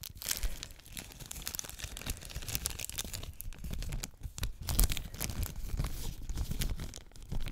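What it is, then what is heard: Plastic shrink wrap film. Thin clear plastic shrink wrap, just removed from a trading card tin, is held and crumpled between fingertips with long nails while the tin sits in the background. The film gives off a steady run of dense, bright crinkling and tearing crackles over a low rumble, with a few louder crunches standing out.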